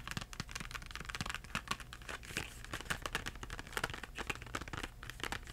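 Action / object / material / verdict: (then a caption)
tap / cardboard box of crayons / cardboard / none. Fingertips tap the back and front of a Crayola cardboard crayon box with crayons inside, making a quick run of soft, dry taps with a papery, crinkly edge. Each tap dies away almost instantly over a low steady hum.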